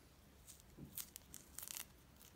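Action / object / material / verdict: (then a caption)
scrape / mandarin orange peel / fruit peel / none. A small mandarin is peeled by hand, the fingers pulling the thin peel off in pieces until the fruit is mostly bare and the peel comes off in one piece. Short bursts of bright, crackly tearing rise over a faint low hum, with the loudest ripping cluster near the end.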